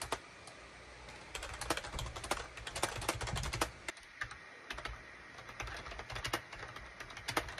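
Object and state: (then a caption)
Plastic keyboard being typed on. Fingertips type on a full-size gray and beige SHIPADOO K600 wired USB plastic keyboard with hollow plastic keycaps. Quick, bright, hollow clicks and taps run in uneven bursts, pausing briefly around the four-second mark before resuming.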